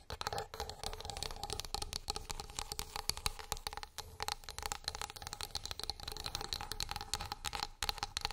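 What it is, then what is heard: Wooden plate. Long nails tap rapidly along the surface and edge of a flat, solid wooden board. The taps come as a dense, steady stream of short, bright clicks with very little ring, over a faint, low, steady hum.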